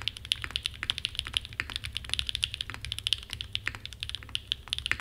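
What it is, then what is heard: Mechanical keyboard being typed on. Fingertips type continuously on a Frog mini, a small 60% mechanical keyboard with a red aluminum case and black plastic keycaps resting on a desk mat. The result is a rapid, steady stream of short, dry, bright clacks with almost no ring, over a faint low hum.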